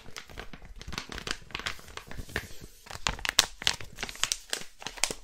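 A flat blue crinkly plastic packet is rubbed and crinkled with the palm and fingertips. It makes a dense, continuous crinkling full of bright, sharp crackles that swell into louder bursts and fall back again.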